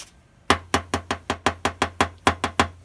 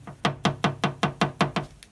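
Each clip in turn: First: aluminum front fender sounding less solid. Second: solid-sounding car body panel.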